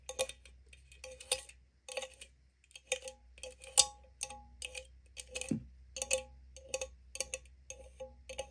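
Long nail tips tap on the pull tab and gold lid of a small, opened green aluminum drink can. The result is a quick, irregular series of bright, crisp clicks, each with a faint metallic ring near 500 Hz that dies away almost instantly, over a low steady hum.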